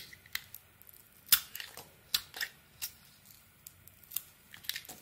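A razor blade shaves the blue painted coating off a solid yellow soap bar held in the hand, peeling it away in long curls. About ten crisp, bright scraping strokes come at an uneven pace, with soft rasping between them and almost no low end.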